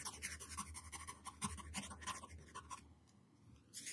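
A yellow wooden pencil tip scribbles zigzag strokes across a flat white paper sheet on a table. The sound is a rapid run of bright, scratchy graphite strokes with a low rumble beneath. They fade into a brief near-silent pause before a final burst of scratching at the end.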